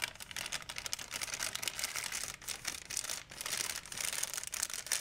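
A large, empty white plastic shopping bag is held up and crinkled with the fingertips. It makes a steady stream of dense, bright crackles and rustles, almost entirely high-pitched with very little low end. The loudness rises and falls as the handling continues.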